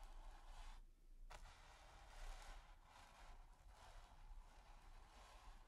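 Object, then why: Stiff bristle brush on textured primed canvas. The tip of a stiff bristle brush is scratched across a flat, taut, textured primed canvas. It makes a continuous dry, raspy scratching in repeated strokes, with a brief lull near the one-second mark. A low, steady rumble sits underneath throughout.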